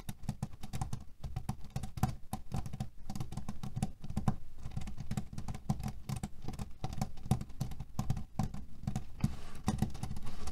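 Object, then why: Cotton canvas pillow filled with cherry pits. Fingernails scratch fast over a cotton canvas pillow filled with cherry pits. The result is a dense, continuous stream of short, dry clicks and rattles with a heavy low-frequency body, running at a steady level throughout.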